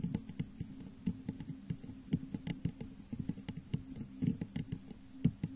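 Long nails tap quickly along the sides of a hollow, textured clear glass vase set upside down over a microphone. The result is an irregular patter of short, soft taps, each with a low, hollow resonance that dies away almost at once.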